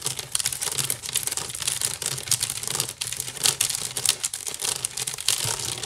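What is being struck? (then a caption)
Woven wicker basket. A large, hollow woven wicker basket is scratched fast across its weave with long nails. The result is a dense, continuous crackling scrape that is mostly bright and high, with a faint low hum underneath.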